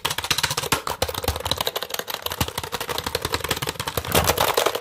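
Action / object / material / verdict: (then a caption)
tap / plastic computer keyboard / plastic / none. A full-size black plastic computer keyboard with a hollow plastic body is held up in front of a microphone while fingertips tap and press its keys. A rapid, steady run of crisp, bright plastic clicks and clacks rattles through the hollow body, growing slightly louder and denser near the end.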